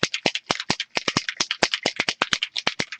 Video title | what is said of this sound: MME Julibee Frame Recap/ Cards | shake this until you hear that little ball wiggling around in there